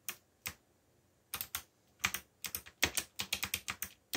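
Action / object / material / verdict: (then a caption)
tap / plastic mechanical computer keyboard / plastic / none. Fingertips tap the black plastic keycaps of a backlit mechanical computer keyboard in irregular typing strokes. There are seventeen short, bright clicks, some sparse and then a quicker run, each decaying almost instantly with very little low end.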